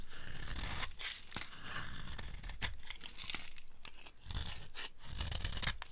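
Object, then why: Bar of soap cut with a blade. A blade carves along the edge of a dry, solid yellow soap bar, shaving off dry flakes. The cuts make a continuous run of crisp, crunchy scraping and tearing strokes with bright edges over a steady low rumble, dipping briefly before the carving picks up again.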